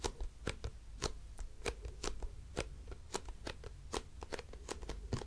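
Long nails scratch along the printed label of a hollow grey plastic cosmetic bottle with a white cap. A quick, uneven series of short, crisp scratching strokes, each bright and dying away almost instantly, plays over a low, steady rumble.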